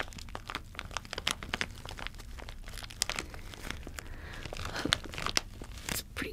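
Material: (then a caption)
Plastic. A clear plastic bag with a printed cardboard header card, filled with small hollow plastic toy cockroaches, is held up in both hands while fingertips squeeze and crinkle it, possibly shaking the contents. Many sharp, bright crinkles and small crackles overlap densely throughout, over a quiet low hum.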